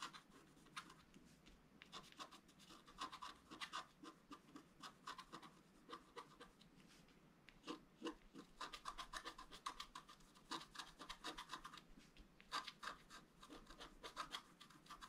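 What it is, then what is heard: Scratch art paper being scratched. A wooden stylus scratches lines into a flat, black-coated sheet of scratch art paper board. It makes a long run of quick, dry, raspy strokes with a bright scratchy edge and a steady tone around 1.1 kHz. The strokes come in irregular bursts over a quiet background.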